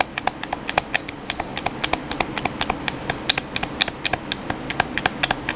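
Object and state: Plastic game controller.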